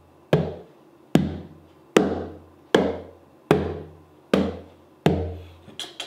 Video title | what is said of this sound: 하영하영의 기타 두번째 시간 지우드 커스텀 | 툭툭만 쳐도 굉장히 울림이 좋아요.